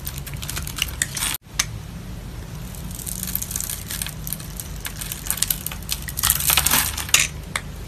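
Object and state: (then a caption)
Soap bar scored and cut with a blade. A metal blade scratches a grid into the surface of a solid oval pink soap bar held in the palm, then cuts small soap cubes off the scored area. Bright, crisp scraping and crunching ticks repeat irregularly over a low steady hum, with a brief silence near 1.4 seconds. The cuts grow louder and denser toward the end.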